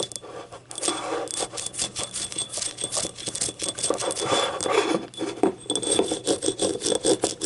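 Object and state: Ceramic cup, empty.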